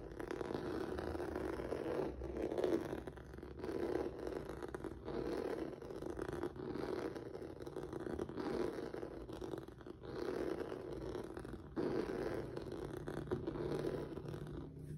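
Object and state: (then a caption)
Textured rubber mat being scratched. Fingertips and nails scratch across the surface of a flat black rubber or vinyl mat with a noodle-like texture, making continuous rough, zipper-like rasping strokes. The scratching comes in repeated bursts centered in the low-mid range, with brief pauses between strokes.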